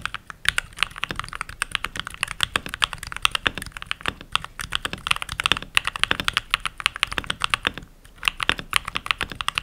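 Fingertips with short nails and rings type steadily on a full-size backlit mechanical keyboard with pink plastic keycaps. The rapid key presses give bright, sharp clicks that die away almost instantly, with brief pauses near 1.5, 4.5 and 8 seconds.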